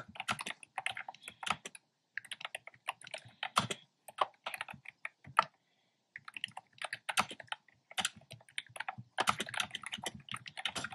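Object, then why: Plastic keyboard with round plastic keycaps. Fingertips with short nails tap quickly across a black plastic keyboard with hollow, round retro-style plastic keycaps in cream, pink and red. Bursts of short, bright, clacky key clicks come in rapid runs, with brief pauses near 2 seconds and around 6 seconds.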